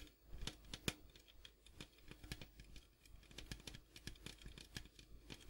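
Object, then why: Large metal popcorn tin. Fingertips and nails tap the striped side and gold rim of a large, hollow, printed metal popcorn tin as it is moved around. The result is a quick, uneven run of soft, sharp ticks and clicks with bright edges over a faint hollow low thump. Each tap dies away almost instantly.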